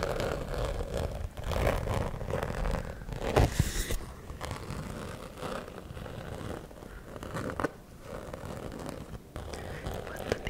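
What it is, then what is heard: Glitter fabric zip pouch scratched. A fuchsia glitter cosmetic pouch with a black lining is held close to the mic while fingernails scrape and scratch across its glittery fabric, and the zipper may be handled. The result is a steady stream of dry, crackly scratching with a low rumble underneath, in uneven bursts that swell loudest around the first few seconds before settling into softer, continuous rasping.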